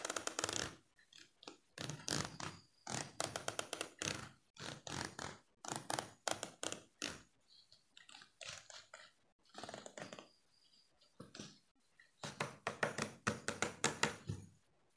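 Fingertips and nails strum along the teeth of a small solid yellow plastic hair comb held in the hand, and the comb is tilted toward the end. Quiet, bright, raspy ticking rattles come in short bursts separated by brief silences, each dying away almost at once.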